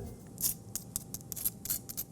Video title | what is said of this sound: Fabio's Kitchen: Episode 38, "Salmon & Creamed Spinach" | listen how crispy the skin is you hear that